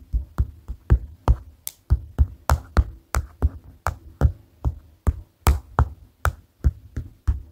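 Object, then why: Paper notepad on a table. A flat white paper notepad, a solid stack of paper lying on a table, is tapped rhythmically with the tips of white plastic glue-stick-like rods held in both hands. Twenty short, dull, low thuds land in a steady, slightly uneven pattern, each dying away almost at once.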